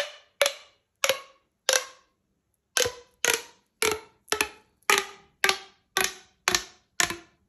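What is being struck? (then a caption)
Corrugated plastic pop tube. A hollow blue corrugated plastic pop tube toy is stretched to full length by hand so its segments pop, then bent into a ring. Thirteen sharp, bright plastic pops sound at a slow, uneven pace, each snapping off quickly with a short, hollow ring and no low end. There is a brief pause after the fourth pop.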